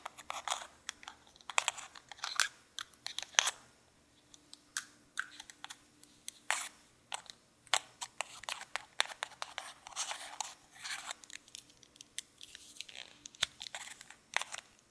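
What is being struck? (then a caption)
Metal lipstick case and cap. A small gold-coloured metal lipstick case with lipstick inside is held in both hands while fingertips click its cap open and closed, with a second lipstick lying still nearby. Many sharp, bright, very short clicks come in quick, irregular bursts with brief quiet gaps, and almost nothing is heard in the low end.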